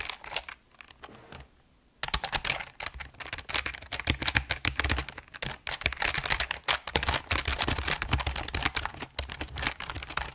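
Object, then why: Mechanical keyboard, plastic keycaps on aluminum plate. A full-size RGB mechanical keyboard with plastic keycaps on a grey aluminum plate is held upright while both hands tap and press the keys with fingertips in typing runs. A few scattered clicks and a brief quiet pause give way to dense, rapid, bright plastic clacking with short, dry keystrokes and a light low thump beneath.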